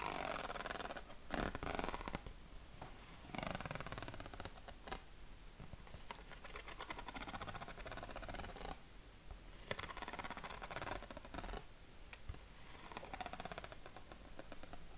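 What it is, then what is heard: Corrugated paper sheet, scratched and tapped. Fingertips and nails scratch and tap the ribs of a yellow corrugated craft paper sheet held against the chest. The result is a quiet, continuous scratchy rustle with soft, short taps and brief louder bursts of bright, broadband friction noise.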